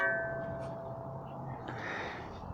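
Rapping on the end of the nagel of an Albion Soldat messer, a steel sword with a peened hilt and pommel, makes the whole blade ring out like a bell. Clear tones, the main one around 1.5 kHz, fade over about a second into a low background. The ring shows the hilt is solidly connected with no looseness.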